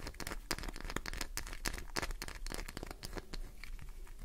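Fingernails dig into and scratch across the surface of a solid, green, translucent glycerin soap bar, sending flakes falling. The result is a quick, dense run of crisp scraping and crinkly tearing sounds with bright edges over a low, steady rumble. Each scratch cuts off almost at once.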